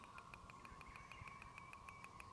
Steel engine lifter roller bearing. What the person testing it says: if you give it a shake you can hear it's not supposed to do that